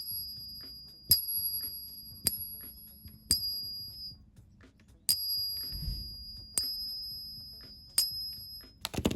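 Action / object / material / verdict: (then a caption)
strike / 40% silver dollar coins clinked together / silver alloy / real. Genuine 40% silver Eisenhower dollar coins are dropped and clinked together for comparison against fake coins. Six bright metallic dings ring out clearly with sustained high tones, followed by a quick flurry of small clinks at the end. The coins are real and sound different from the fakes.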